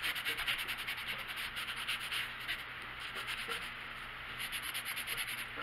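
A pink colored pencil is rubbed back and forth across a large printed paper coloring book page lying flat on a wooden table, with the other hand resting on the page. The result is a steady, bright, scratchy rasp of quick coloring strokes that continues without a break.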